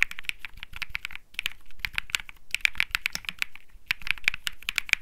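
Fingertips type continuously on a cream Think 6.5 mechanical keyboard with Bsun Lollipop switches and plastic keycaps. Rapid, bright, clacky key presses arrive in quick bursts with brief pauses, each one short and dry with no ring and a faint low thud underneath.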